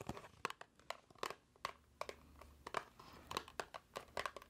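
A small, hollow white paperboard box is held in the hands, squeezed, tapped and scratched with long nails. A quick, uneven series of short, dry taps and crinkly scratches sounds in the mid range with bright edges, each dying out almost instantly, with a faint low hum between them.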